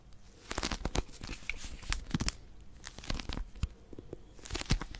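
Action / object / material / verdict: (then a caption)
scrape / paper pocket dictionary / paper / none. Long nails grip and scratch the cover of a small blue Oxford paper pocket dictionary, a solid paper book. The result is bursts of dry, crinkly, tearing-like scratches over a low rumble, with several sharper bright crackles clustered around the middle and end.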